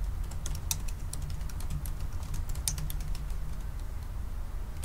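Fingertips of both hands type on the black plastic keys of a silver aluminium laptop keyboard. A quick, uneven run of light, bright key clicks sits over a steady low rumble. Each click dies away almost instantly.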